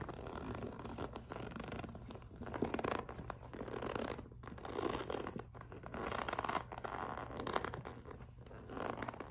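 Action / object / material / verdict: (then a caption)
scrape / clear vinyl zippered pouch / PVC plastic / none. A clear PVC cosmetic pouch with a pink zipper is pinched and gripped with fingertips and long nails, giving a squeaky grip sound. The clip is a steady run of short, crinkly squeaks and scratches, densest in the mids, rising and falling in waves over a faint low hum.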